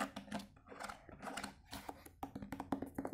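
A stack of nested, translucent plastic food containers, hollow and empty, is held in both hands and tapped with the fingertips on the lid and sides. The result is a quiet run of quick, soft, hollow taps and light clicks, each with a dull low tone that stops almost at once.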